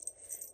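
A finished crocheted yarn amigurumi Christmas ornament ball with a little mouse design is shaken, making the jingle bell attached to it ring. Four quick, quiet, bright jingles sound with almost no low end. The bell rings properly.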